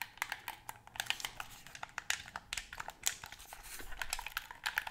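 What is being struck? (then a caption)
Plastic game controller. A white plastic gamepad, held close in both hands, is tapped quickly with long nails that have paper clips attached. Rapid, sharp, bright clicks and ticks run unevenly throughout, each dying away almost instantly, over a faint crinkly hiss with very little low end.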